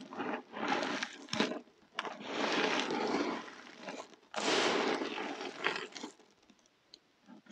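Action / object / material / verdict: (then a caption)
scrape / heap of soap crumbs and flakes / soap / none. A heap of dry soap crumbs and flakes is pressed down, squeezed and crushed by fingers with painted nails. Bursts of crisp, crumbly crunching and crackling follow, some long and some short, spreading bright and high with a faint rasping texture. Between bursts the sound drops to near silence, and it tapers off into a few faint crackles.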